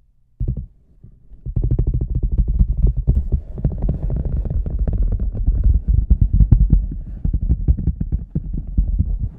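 Fingertips tap the rim of a large, hollow red rubber boot with a microphone inside, then move on to tap the toe and sides. After a few soft taps and a short pause, a quick, steady run of deep, boomy, muffled thuds follows, with almost no ring after each one.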